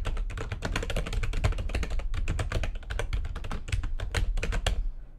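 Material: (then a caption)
Plastic. Fast typing with long nails and fingertips on a full-size plastic computer keyboard with white backlighting and a hollow housing. It produces a dense, steady stream of bright, clacky keystrokes over a low, hollow thump, with short decays and a few louder strikes near the end.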